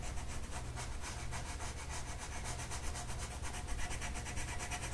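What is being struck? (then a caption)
Colored pencil on a paper sheet. A light blue colored pencil makes vigorous back-and-forth shading strokes on a flat paper mandala coloring sheet. The clip is a steady, rapid scratchy rubbing with a quick rhythmic pulse of bright grainy strokes over a constant low rumble.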